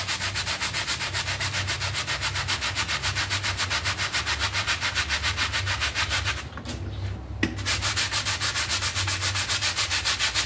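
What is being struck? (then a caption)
Synthetic pile carpet mat. A small wet, foamy synthetic pile carpet mat is scrubbed with a red hand brush with dark bristles, making fast, steady, bright rasping strokes at about three or four per second. The scrubbing pauses briefly for about a second, with a soft muffled rustle and a faint thud, then resumes at the same brisk rhythm.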